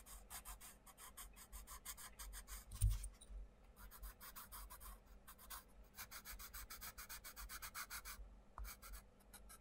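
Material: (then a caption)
Paper. A wooden coloured pencil, held close to the tip, scratches short strokes into a butterfly drawing on a paper page of an open colouring book on a table while the other hand steadies the page. The result is a quick, steady run of bright, dry scratching rasps over a faint low rumble, with one brief louder bump near the three-second mark.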